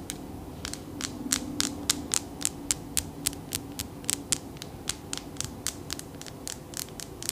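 Long nails tap and rub a solid, clear, palm-sized crystal ball, making about 27 sharp, bright clicks at an uneven pace. The clicks sit over a steady low hum and faint scratchy rubbing.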